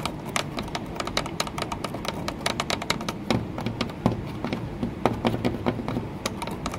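Long fingernails tap rapidly and irregularly on an embossed green textured glass window pane set in a wooden frame, sometimes striking near the frame's edge. Each tap is a short, bright click that dies away almost at once, with a faint low thud underneath.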